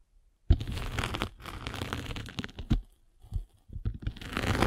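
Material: Abrasive foam.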